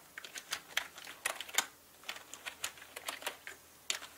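Slow typing with the fingertips on a full-size black mechanical gaming keyboard with plastic keycaps and a hollow body. About eighteen separate bright, clacky key presses come at an uneven pace, each dying away almost instantly, with a brief pause near the middle.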